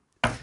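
A single knock on a desk, a sharp thump with a low body around 117 Hz and a bright attack. It rings briefly and decays within about a tenth of a second, after near silence.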